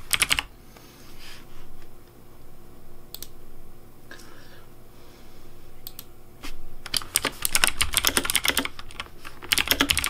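Fingertips type on a pink plastic Razer Deathadder V3 Pink mechanical keyboard with hollow plastic keycaps, making bright, clicky keypresses. A quick burst of clicks opens the clip, followed by scattered single taps over a low steady hum. From about seven seconds to the end, the typing becomes dense and rapid.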